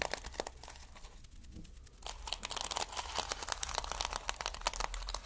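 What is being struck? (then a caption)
Plastic sequin fabric. Fingers rub and scratch over a reversible flip sequin fabric sheet made of plastic sequins, producing dense, bright crinkling clicks and scratches. A quieter, sparser stretch in the first two seconds gives way to busier, louder rustling for the rest of the clip, over a faint steady low hum.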